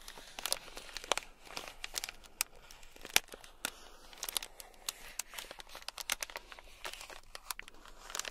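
A thin black stick scratches a small, sealed, clear plastic bag packed full with tiny gold beads. It makes a steady run of bright, crinkly scratches and sharp little clicks with almost no low end. Each tap dies away instantly.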